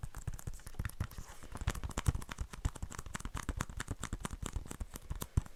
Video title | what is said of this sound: ASMR Blu-ray movie collection. Whispering and tapping | this case is a little bit broken, I don't think it makes that great tapping sounds cuz there's a little bit that kind of gives it a bit of ring to it